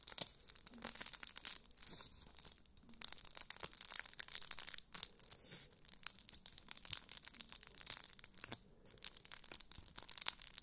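A flat, hand-sized rectangular block tightly wrapped in crinkled aluminium foil, contents unseen, is held in both hands while fingertips and nails scratch and squeeze the foil surface. This produces soft, dense, bright crinkling and rapid crackles that carry on continuously throughout, with brief dips between the bursts and almost no low end.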